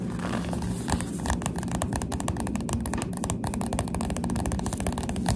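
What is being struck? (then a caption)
Paperback book with glossy card cover. Finger pads tap rapidly on the glossy cover of a Goosebumps paperback book, making a dense, continuous run of soft, dull taps with short, bright clicks. A steady low rumble sits underneath the whole clip.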